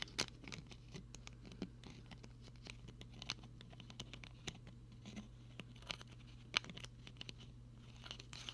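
Fingertips tap and twist the small plastic screw cap on a partly filled clear plastic water bottle. The result is a quiet, irregular run of sharp, bright clicks with crinkly scratching and twisting sounds between them, each snapping off almost instantly over a steady low hum.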